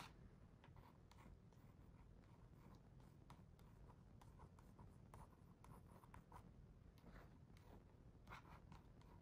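Fingertips and nails trace across the glossy paper page of an open hardcover picture book, then a page is turned. Quiet, soft scratchy strokes and brief taps sit over a steady low rumble.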